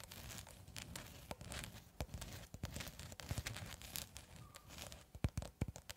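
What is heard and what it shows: Long red acrylic nails tap and scratch a long cylindrical roll of clear plastic cling film held horizontally, at one point close to the microphone. A steady crinkly, scratchy rustle runs throughout, broken by many sharp clicking taps that grow louder and more distinct toward the end.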